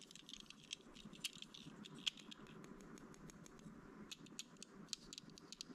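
A small red-and-white plastic building-brick fire truck with a ladder and wheels is held in the hands while fingertips and nails fiddle with and tap its loose parts. The result is quiet, uneven rattling clicks and sharp bright taps over a soft scratchy shuffle, with a few louder snaps standing out.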